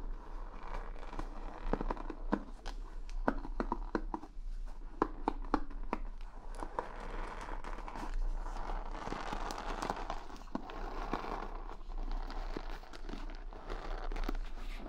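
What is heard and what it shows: Long fingernails and fingertips rub and flick the wooden pin bristles of a wooden paddle hair brush set in a rubber pad, close up. A dense stream of quick, dry clicks and scratchy crackles runs at a fairly steady level over a soft low hum, with brief sharper snaps scattered throughout.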